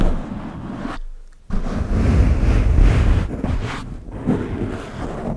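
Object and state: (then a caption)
Foam microphone windscreen being scratched. Fingertips and nails of both hands quickly scratch and rub a large black foam windscreen cover on a microphone. The result is a dense, low, rumbling scrape with muffled crackle, broken by a brief near-silent pause before the rubbing resumes louder and continues unevenly.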